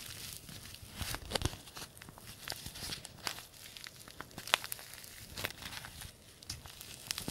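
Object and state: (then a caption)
Paper tea bag sachet being crinkled. A small white-and-green printed paper tea bag envelope is creased, crinkled and rubbed between the fingertips of both hands. The quiet, close sound is a steady, bright papery rustle broken by frequent sharp crinkles and crackles, with a few louder snaps standing out.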